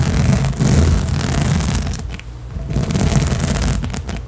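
Long nails on both hands rapidly scratch and rake the nubs of a large, hollow blue inflatable rubber/PVC spiky balance cushion. The result is a dense, continuous scraping rustle with a heavy low thump underneath, briefly easing in the middle before picking back up.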